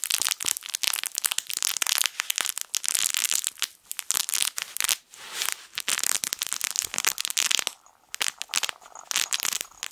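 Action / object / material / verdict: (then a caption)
scrape / plush fabric crinkle toy with crinkly film inside / fabric, plastic film / none. A small yellow plush fabric crinkle toy shaped like a sun is squeezed and crumpled with the fingers. It gives off dense, crisp crackling that is bright and high, with almost no low end. The rustling bursts come in rapid clusters, with a brief lull just before the 8-second mark.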